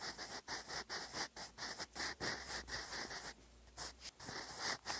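A sharpened wooden graphite pencil, held in the fingers, writes cursive across a lined grey notebook page lying flat on a desk. Its lead makes quick, bright, papery scratching strokes in short bursts, with a brief quieter pause in the middle before the writing resumes.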